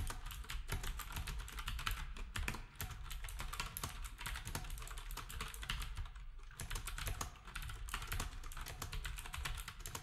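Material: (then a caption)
Plastic. Fingertips of both hands type steadily on a black, typewriter-style retro keyboard with round plastic keycaps. A dense, continuous stream of short, bright clicks runs over a steady low hum, with brief lulls near 2.7 and 6.4 seconds.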